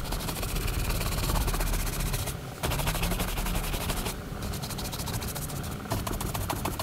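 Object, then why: Leather cowboy boot brushed with a horsehair brush. A horsehair brush rapidly buffs back and forth across the leather upper of a hollow, empty brown Lucchese leather cowboy boot on a rack while the other hand grips the boot. The result is a dense, continuous run of fast scratchy swishes over a heavy low rumble, broken by brief pauses near 2.4 and 4.2 seconds.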